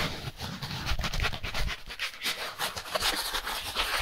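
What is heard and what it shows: A white styrofoam packaging insert, a solid foam slab, is rubbed and scratched quickly with gloved hands. The result is a steady run of bright, squeaky scratching and rustling over low, dull thuds, with short bursts that stop quickly and no lingering ring.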